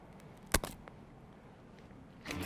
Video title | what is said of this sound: Three Recipes For Chia Seeds That Are More Than Just Pudding - How to Make with BeautyMNL | You can see and hear how crispy it is.